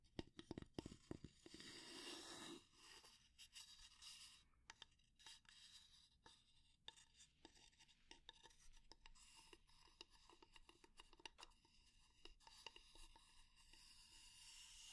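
A fingernail scratches and taps along the handle and head of a solid, light wooden spatula. It opens with a dense, bright scratching rasp for about two and a half seconds, then gives way to quiet, irregular, sharp dry taps with very short decay, broken by light scratching.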